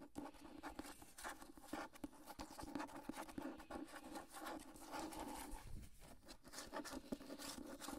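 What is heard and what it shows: Long nails scratch and tap the spine and front cover of a solid, medium-large hardcover copy of "The Water Dancer" with a dark paper dust jacket. The sound is a quiet, continuous dry scratching dotted with short, sharp taps that stop almost at once.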